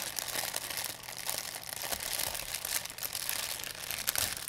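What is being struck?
Thin plastic bag.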